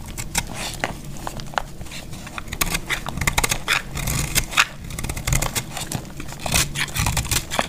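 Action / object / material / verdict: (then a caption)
scrape / soap bar scraped with a metal blade / soap / none. A solid, dry orange soap bar held in the hand is shaved and scraped with a metal utility-knife blade. Crisp, crumbling cuts come in quick uneven bursts, with bright scraping over a low rumble.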